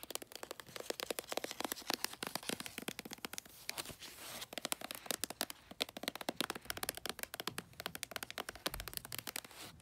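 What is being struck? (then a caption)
Cylindrical gift wrapped in glossy paper. Long nails tap and scratch the side of a cylindrical gift wrapped in light blue, bulldog-print glossy wrapping paper. Rapid, crisp clicks and brief papery scrapes sound steadily throughout, bright and sharp with almost no low end. Each tap dies away almost instantly.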